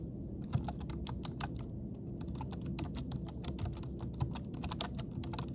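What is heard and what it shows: Both hands type rapidly with their fingertips on a black plastic full-size computer keyboard with a hollow body, resting on a stone countertop. A fast stream of short, bright clicks of the plastic keys plays over a steady low hum, with a few louder key strikes standing out.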